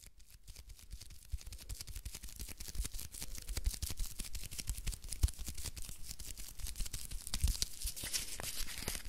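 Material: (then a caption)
Paper. A small rectangular bar of soap in a printed paper wrapper is held in both hands while long fingernails rapidly tap and scratch the wrapper. The paper crinkles in a dense run of sharp, bright ticks over a low thumping undertone. The sound grows slightly louder toward the end.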